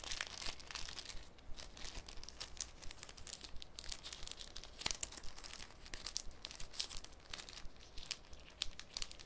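A thin, clear piece of cellophane is folded, pinched, crinkled and flexed by the bare fingertips of both hands over a wooden table. It makes a steady, irregular stream of crisp, bright crackles and sharp little snaps, with no ringing, over a faint low hum. The crinkling stays dense and quiet throughout.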